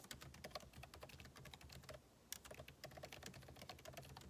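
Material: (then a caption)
Plastic. Fingertips type rapidly on the plastic keycaps of a backlit MacBook Pro keyboard set in an aluminum body. A dense stream of short, bright clicks and taps dies away almost instantly, with a brief pause near the middle and a steady low rumble beneath.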